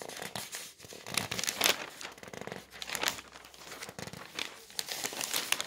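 Fingertips grab thin newsprint sheets of a paper newspaper lying on a table and turn them over. The pages rustle and crinkle in a steady run of bright, crisp bursts with quiet gaps between them.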